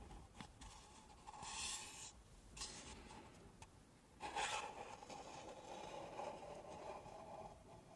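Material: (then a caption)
Paper. Long nails and fingertips rub and scratch the outside of two stacked, empty, hollow pink paper cups. The result is a soft, raspy scraping in slow, swelling strokes, with a hollow tone around 860 Hz and bright hiss in the louder passes.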